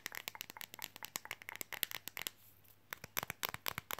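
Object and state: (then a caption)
Flexible fridge magnet tapped with fingernails. A thin, red, flexible printed Coca-Cola fridge magnet, held in both hands, is tapped fast with fingernails. About two dozen sharp, dry, bright clicks come in quick bursts, with a brief quiet pause near the middle before the tapping resumes.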